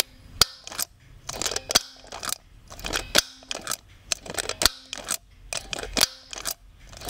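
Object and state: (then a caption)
Plastic doll head eye mechanism clicks. Fingers work the eye-change pull mechanism on the hard plastic head of a brown-haired Blythe doll in a red top, held in front of the mic. Sharp, bright, dry clicks come in repeating clusters, with brief scraping and rustling between them and almost no ring after each snap.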